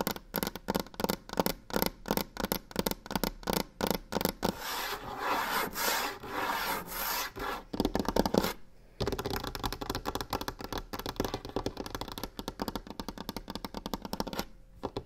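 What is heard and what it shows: Long nails scratch and tap quickly across a large, solid, varnished wooden tabletop. Dense bursts of sharp clicks and raspy scratching fill the first half. A brief pause near 8.7 seconds is followed by a steadier stretch of rapid rubbing and tapping.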